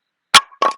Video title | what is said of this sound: Everything You Need to Know About Buying Firewood | nice and Hollow sound doesn't matter the size as long as it sounds Hollow that is a seasoned piece of firewood